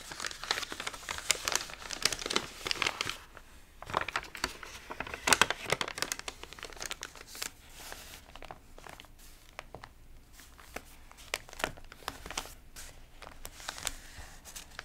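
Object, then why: Glossy paper magazine pages. Fingertips and palms rub and press the wrinkled, water-damaged pages of an open glossy paper magazine lying on fabric, then turn a page. Dense, bright crinkling and crackling fill the clip, with louder bursts in the first six seconds before settling into softer, sparser rustles.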